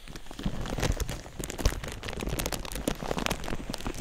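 A thin, clear plastic sheet draped over a binaural microphone is crinkled and rubbed with fingertips. It makes a dense, continuous run of sharp crackles and crinkles over a low, muffled handling rumble, with brief louder pops scattered throughout.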